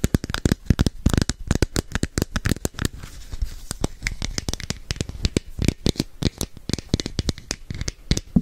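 Long nails rapidly tap and scratch the surface of a hand-sized, hollow red and orange plastic capsule held close to a microphone. Dense, dry clicks with a low, hollow thump come in quick irregular bursts, easing into quieter scratching through the middle before the tapping picks up again.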